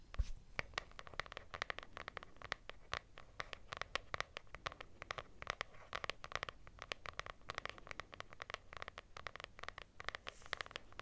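Long nails scratch the textured cloth cover of a lilac hardcover notebook with a solid paper block. The result is a rapid, steady run of short, dry, bright scratching strokes with a soft low rumble underneath, continuing throughout at an even, quiet level.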